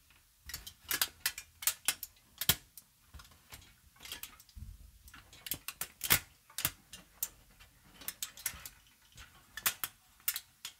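A long, crumpled sheet of aluminium foil is held upright and crinkled with fingertips and long nails. It gives sharp, bright, crackling snaps in quick irregular bursts, each dying away almost instantly, with quiet gaps between clusters.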